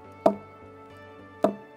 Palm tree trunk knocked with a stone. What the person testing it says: When you knock it like this with a stone, it gives you sound. Why it gave you that sound? Because it's hollow inside.